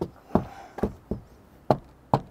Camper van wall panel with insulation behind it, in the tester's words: en tapant dessus tu entends si c'est creux ou pas ici ça l'est pas creux donc ça veut dire que il y a quand même de l'isolant qui est mis